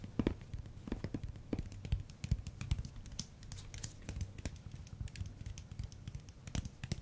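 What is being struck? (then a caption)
Silicone spatula head. Fingernails and fingertips tap and scratch the solid, flexible head of a pink silicone spatula with a long dark handle. Quiet, irregular soft taps and scratching come in quick succession, mostly low dull thuds with brief bright clicks that die away almost instantly.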